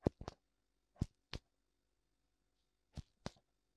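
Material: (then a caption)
Silicone. Fingertips tap both white silicone ears of a black binaural microphone, making short, dull, muffled thumps with little ring. The taps come in three quick pairs separated by silence, weighted toward low frequencies with a soft bright edge.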